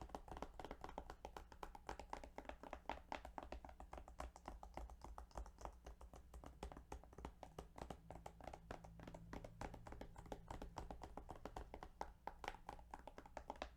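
Rapid, continuous tapping on the plastic case of the Yu-Gi-Oh! Duelist of the Roses video game. The taps are quick and dry with very short decay, set over a steady low hum. Their tone sits in the midrange, near 880 Hz.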